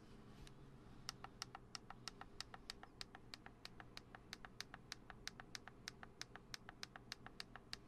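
A black Canon DSLR with a lens cap and a hollow plastic body is held in both hands while fingertips tap quickly on the lens cap and lens barrel. The result is a fast, slightly uneven run of short, dry, bright clicks that stop almost at once, over a low, steady background hum.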